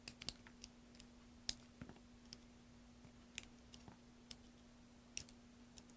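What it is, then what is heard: Soap bar being carved. A solid green soap block, held in the hand, is carved and scraped with a small metal knife over a pile of shavings. About 13 short, sharp, bright clicks and scrapes stand out over a quiet background with a steady low hum.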